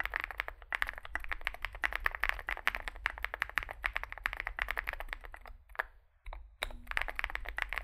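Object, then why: Mechanical keyboard with plastic keycaps. Fingertips type continuously on a small Zoom65 65% mechanical keyboard with a dark case and white and grey plastic keycaps. Rapid, crisp clacking keystrokes with a bright click sit over a steady low hum. The typing pauses briefly just before the six-second mark, then resumes.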